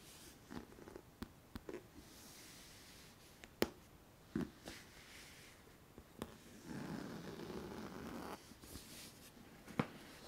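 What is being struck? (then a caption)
Synthetic leather handbag. Long nails tap and scratch across the top and side panels of a medium dark brown faux leather tote bag with stitched edges, rivets and a metal charm, hollow and apparently empty. Sharp, short taps stand out above a quiet bed of soft rubbing, and a steadier, louder scratching stretch runs through the later part of the clip.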